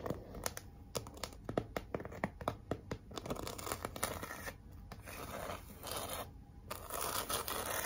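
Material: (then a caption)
Cardboard. Long nails and fingertips scratch, tap and rub across a large, flat pink cardboard heart sign with glitter lettering. Quick, dry scratches and clicks come in a dense string at first, then give way to longer, steadier rubbing passes with a gritty, papery texture.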